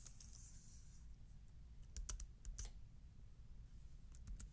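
A thin black full-size plastic wireless keyboard is held up and tapped and typed on with the fingertips across its keys. Quiet, sharp plastic key clicks come in small clusters over a steady low rumble, with a faint bright hiss at the start.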